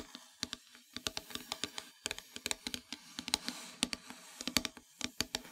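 Long metallic nails tap and scratch across a flat, solid, dark painted wooden heart-shaped plaque. A quick, irregular series of short, bright clicks with almost no low end sounds, with soft scratchy friction between the taps. Each tap dies away almost instantly.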